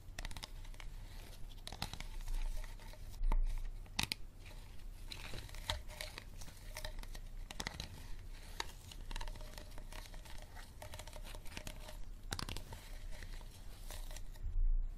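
Fingernails tap and scratch the sides of an empty, hollow, clear unlabeled plastic water bottle with a green cap, held upright. Steady crinkly scratching runs throughout, broken by sharp, bright taps that die away almost at once, over a low, dull rumble. A few louder clicks stand out, including a burst near the end.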